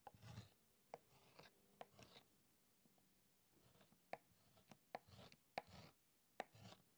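A hand scratches strokes with a metal stylus into the beeswax surface of a writing tablet set in a wooden frame on a table, its wax already covered in incised letters. Soft, breathy scraping strokes alternate with sharp, dry ticks as the stylus touches down, each dying away almost instantly.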